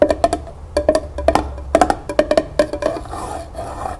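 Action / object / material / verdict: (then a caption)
tap / small upside-down tin pail / tin / none. Long nails tap the flat metal bottom of a small, empty tin pail set upside down on a table. Seventeen quick, dry taps with a faint pitched ping near 600 Hz die away almost instantly, coming in rapid bursts. The final second settles into a softer, continuous rustle.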